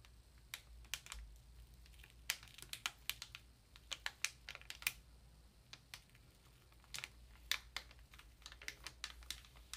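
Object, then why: Paper ream in plastic wrap. Long nails tap the plastic wrap on a Georgia-Pacific 500-sheet ream of paper, then hands grip its sides. Sharp, bright clicks and crisp crackles come in quick, irregular bursts over a faint, steady low hum.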